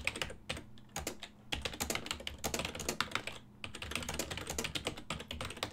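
Fingertips type continuously on a full-size ergonomic silver and black plastic desktop keyboard with hollow key switches. The result is a rapid, uneven stream of bright, short clacks with brief pauses between bursts, over a faint steady low hum.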